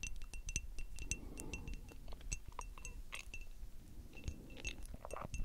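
Long acrylic nails on both hands tap a small rectangular frosted glass perfume bottle with a metal spray cap. A rapid, uneven run of short, bright glassy clinks and ticks rings with a faint high tone, over a soft low rumble.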